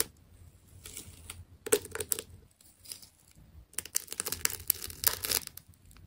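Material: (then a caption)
Plastic tape. A small metal blade cuts and scrapes through the layers of a fist-sized white plastic tape ball with blue layered rings. Bright, crisp tearing and crackling come in short bursts, with a quieter stretch between and a dense run of sharp snaps near the end.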